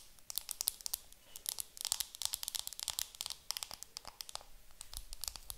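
Long nails tap and scratch the clear plastic film wrapped around a round makeup compact held in the hands. The result is a quiet, rapid stream of sharp, bright crinkling clicks and scratches with almost no low end, each tap dying away instantly.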